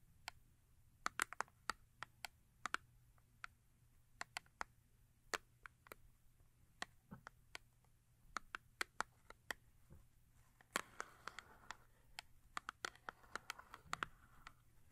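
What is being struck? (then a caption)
Paperboard soap box. Long acrylic nails tap the front face of a small upright paperboard soap box resting on fur. The result is quiet, dry, sharp clicks with almost no ring, centered in the mid-range with some brightness. They come in irregular bursts, and a softer scratchy rustle fills the stretch near the end over a faint steady low hum.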